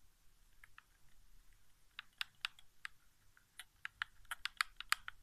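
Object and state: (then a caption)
Plastic game controller tapped. Fingertips tap the face buttons and thumbstick of a hollow white plastic PS4 game controller resting on carpet. About thirteen short, bright plastic clicks come at an irregular pace, faint at first and growing busier toward the end. Each tap stops dead with no ring, over a quiet, low background.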